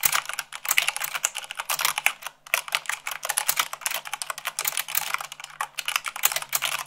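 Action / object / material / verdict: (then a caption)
tap / mechanical keyboard with plastic keycaps / plastic / none. Fast typing with fingertips and long nails on a mechanical keyboard with white plastic keycaps on a black base, at about 98 words per minute. A dense stream of bright, crisp clicks and clacks follows with very short decay, with a brief pause near the middle.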